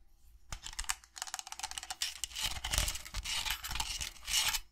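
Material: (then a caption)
Resin. A hollow, empty barrel-shaped tankard with a resin body, metal bands and a stainless steel rim is tapped and scratched with long nails. The result is a rapid, bright run of dry clicks and raspy scraping with very little ring.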